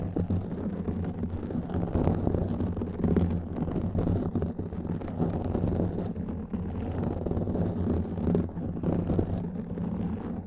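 A black foam windscreen on a microphone is scratched and rubbed with the fingertips and nails of both hands. The result is a dense, continuous low rumble with scratchy crackles and soft thumps running throughout, and almost nothing bright on top.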